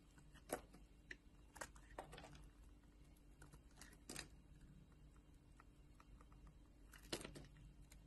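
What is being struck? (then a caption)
Bar of soap cut with a blade. Thin slices are cut off a solid blue bar of soap with a metal utility knife blade while the bar is held in a hand with long nails. Quiet, sparse, crisp scraping and slicing strokes stand out as short bright bursts over a low, steady background hum, with brief clicks of the nails between cuts.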